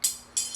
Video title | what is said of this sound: Anvil 062: French RSC 17 | it sounds a little bit flat